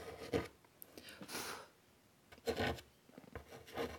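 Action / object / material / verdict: scrape / chalk on a wood-framed chalkboard / chalk / none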